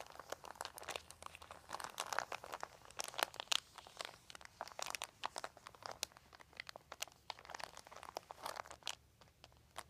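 Fingers grip, scratch and crinkle a large, thin, crumpled white plastic sheet. Dense, bright crackles and sharp snaps run continuously through the clip, with no low rumble beneath them.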